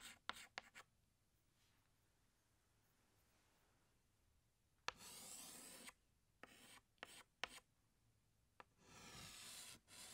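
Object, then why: Chalk stick on chalkboard. A hand scratches a green chalk stick across a large, flat black chalkboard in long drawing strokes. A few quick, sharp chalk taps come first, then a quiet pause, followed by long, bright, raspy scrapes broken up by shorter strokes and taps. It ends on another sustained scratch.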